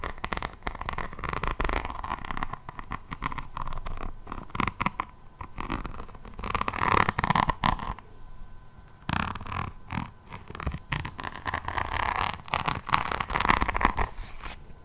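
A hardcover resin rhinestone diamond painting notebook with a beaded cover is held upright in one hand and scratched with the long nails of the other hand. Dense crunchy, clicky scratching runs throughout, with bursts of rapid nail strokes and a recurring bright tone around 1 kHz.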